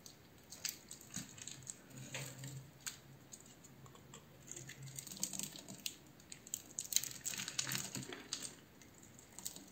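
A metal utility knife blade cuts and scrapes across the scored surface of a palm-sized, solid blue oval bar of soap held in one hand, breaking off thin soap chips. The result is a quiet run of crisp, bright scraping and ticking sounds with faint low thuds between strokes.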